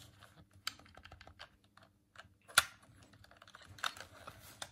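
A hollow white plastic Dreamcast controller is held in both hands while the thumbs click its D-pad and face buttons. Quick, dry plastic clicks and soft taps come in an irregular run, with a few louder sharp snaps. Each click is bright and dies away almost instantly.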